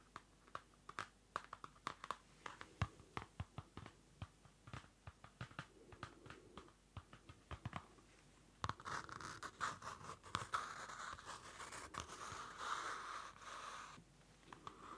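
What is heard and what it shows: Fingernails tap and scratch the dark card cover of a small Field Notes pocket notebook, a cardboard-covered paper notebook held close to the mic. For the first half, dozens of quick, dry taps click out in an uneven rhythm. Then a steady, raspy scratching with a papery midrange rustle takes over before a few last light taps.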